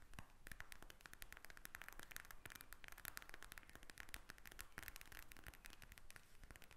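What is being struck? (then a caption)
Plastic eye mask filled with gel beads. Long acrylic nails tap and scratch the surface of a pink eye mask, a clear plastic shell filled with gel beads lying flat on a table. The result is a steady stream of quick, dry, bright clicks and crackly scratches with very short decay and a faint low rumble beneath.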